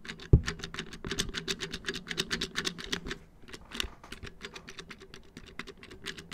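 Fingertips tap quickly on the hollow black molded plastic back panel of a round wall clock, about 30 cm across, with its battery housing visible. A rapid, steady patter of short, dry clicks with bright ticks and a low hollow body follows one louder knock near the start. Each tap dies away almost at once.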